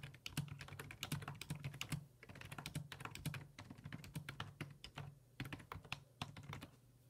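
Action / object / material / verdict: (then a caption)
tap / plastic computer keyboard / plastic / none. Fingertips type on the hollow plastic keys of a black plastic full-size computer keyboard resting on a wooden desk, producing rapid, repeated taps in bursts with brief pauses near 2 and 5 seconds. Each keystroke is a short, bright click with a soft low thunk, over a steady low hum.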